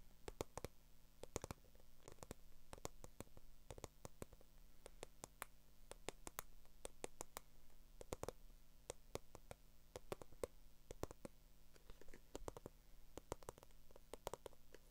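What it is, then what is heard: Faux leather handbag tapped with nails. Long acrylic nails tap and scratch on a small black croc-embossed glossy faux leather handbag held close. Quick, sharp, dry clicks come in rapid, uneven bursts, mixed with soft scratching over a low, steady hum, and each tap dies away almost instantly.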